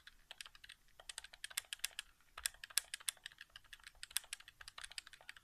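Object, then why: Plastic game controller. Fingertips tap the face buttons of a hollow white plastic PS4 game controller resting on carpet. A rapid, uneven run of sharp, dry plastic clicks is heard, bright and high with almost no low end. Each click dies away at once.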